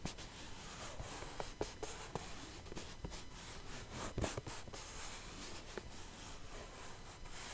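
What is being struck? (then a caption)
Small clear plastic box filled with rhinestones. Long painted nails scratch across the lid of a small clear plastic box full of rhinestones, making a soft, steady scraping hiss. Brief sharp ticks and clicks stand out now and then as the nails catch on the plastic.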